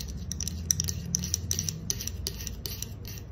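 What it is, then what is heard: Aluminum soda can. Long acrylic nails scratch and tap the concave silver metal bottom of a green aluminum soda can held on its side. The result is a rapid run of bright, dry clicks and scratches with a high metallic tick and no ring, over a steady low rumble.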